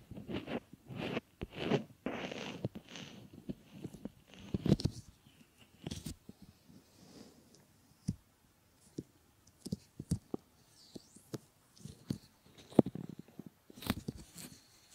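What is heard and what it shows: Fingertips and short nails rub, press and fold a pair of solid silicone ear models, producing soft, close rubbing and squishing sounds. Busy stretches of low, muffled friction give way to sparse, sharp little taps and scratchy clicks with quiet gaps between them.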